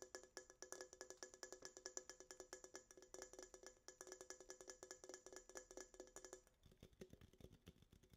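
Long acrylic nails tap and scratch the side of a small red Coca-Cola aluminum can held in both hands. About fifty quick, dry clicks come in a rapid, uneven stream, each with a bright metallic ping and very short ring. In the last second and a half the taps thin out and turn softer and duller.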